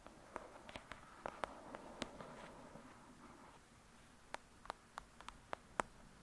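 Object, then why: Paperback book with paper cover. Long acrylic nails tap rapidly on the cover of a thick, solid "Lady Midnight" paperback book lying flat. Sixteen short, dry clicks with a hollow papery tone around 950 Hz come in irregular clusters, with a soft brushing rustle between them in the middle. The taps stop instantly with no ring, over a quiet background.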